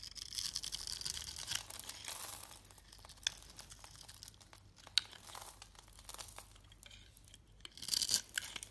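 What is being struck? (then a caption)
Bar of soap cut with a steel blade. A steel utility blade shaves small cubes off a solid orange bar of soap held in the hand and scored into a grid, leaving crumbly flakes. Dry, bright scraping and crinkly shaving fill the clip, with a few sharp clicks standing out and a louder burst of shaving near the end.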